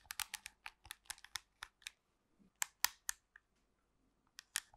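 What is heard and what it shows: Long pink nails tap and scratch a black plastic TV remote control with colored buttons close to the mic. About fifteen sharp, dry, bright clicks come in quick bursts with short pauses between, the loudest taps near the middle and at the end. Each click dies away almost instantly.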